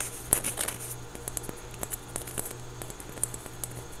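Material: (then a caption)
Foam. A small orange basketball-patterned foam stress ball, solid and soft, is held close and squeezed and scratched with fingertips and nails. Quiet, bright scratchy ticks and soft squishy taps come in an uneven patter over a steady low hum. Each sound dies away almost at once.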